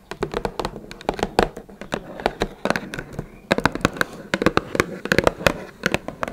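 Long red nails tap rapidly and irregularly on the top and sides of a small, hollow, closed blue Twinings cardboard tea box. Each tap is a dry, hollow click with a mid-range body around 550 Hz and a bright, quick tick that dies away almost instantly. The tapping comes in quick flurries with a brief lull just past the middle.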